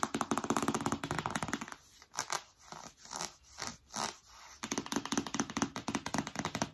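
Long nails scratch and scrape the glossy printed front of a large, flat, rigid cardboard iPad Pro box held upright. A rapid, dense run of dry, crackly scratching gives way in the middle to a few slower, separate scrapes with quiet gaps, then the fast scratching returns until the end.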